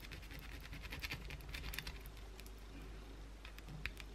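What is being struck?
Bar of soap scratched with fingernails.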